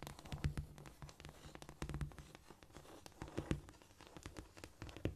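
Long painted acrylic nails of both hands scratch and tap across a flat, solid cork floor. Quick, irregular clicks and scurrying scratches come in dense bursts, with dull, low-heavy taps that stop almost instantly.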